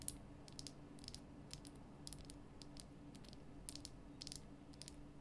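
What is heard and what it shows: Long nails tap quickly along the rough sides of a large, glowing pink Himalayan rock salt lamp, a solid salt block. The bright, dry clicks come in quick clusters with almost no ring, over a steady low hum.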